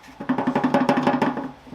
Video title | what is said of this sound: 漏れる・錆びてる・想定外のオイルパン修理！ケータハム・スーパーセブン｜名車再生【Caterham Super Seven 14】 | 今の段階だと結構ほらカタカタしてる